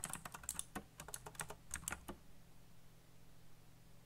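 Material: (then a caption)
Plastic. Fingertips type fast on a backlit black plastic mechanical keyboard with RGB lighting and hollow key switches, giving a quick run of bright, clicky taps. The typing stops after about two seconds, leaving a faint steady low hum.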